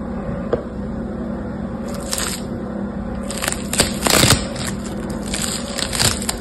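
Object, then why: Foam bead slime. Yellow-green foam bead slime (floam) is squeezed, then stretched into a thin sheet and pressed back together by fingertips. Bright crackling pops and crunches rise over a steady low hum, growing busiest around the middle of the clip before thinning out.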